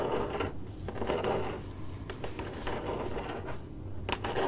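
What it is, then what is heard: Cardboard box. Long acrylic nails on one hand scratch and tap a hollow, printed corrugated cardboard box. A steady dry, papery scratching fills the clip, broken by short sharp taps, with a hollow mid-low body around 410 Hz and little high-end brightness.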